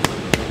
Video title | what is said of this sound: Fremo Bread Demo | it has a nice hollow sound to it like you're tapping on a on a football it's got a nice crust